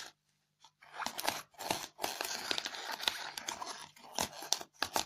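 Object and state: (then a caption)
Styrofoam block. Long fingernails rapidly scratch a white polystyrene foam block with scattered foam beads, tearing the foam. Bursts of bright, crunchy, crackling scratches come in quick runs separated by brief pauses, with almost no low end.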